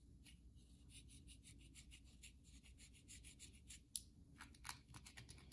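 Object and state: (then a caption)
Bar soap. Long nails scratch and tap a solid, carved white bar of soap held in the hand. Quiet, quick, uneven strokes make dry, bright scratching bursts over a low steady rumble, with a couple of sharper, clickier taps near the end.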